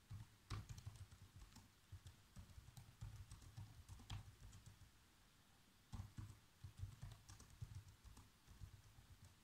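Fingertips press the black plastic keys of a laptop keyboard, typing at an irregular pace. The soft, muffled taps carry mostly low thump with faint bright clicks, and they come in two bursts split by a brief pause near the middle.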